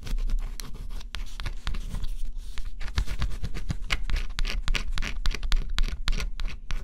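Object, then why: Coated cardboard puzzle piece scratched with a stylus. A small pointed stylus held in the fingertips scratches the black coating off flat, thin cardboard scratch-off jigsaw puzzle pieces lying on a dark cloth. Quick, dense scratching strokes come in short bright bursts, layered over a steady low rumble.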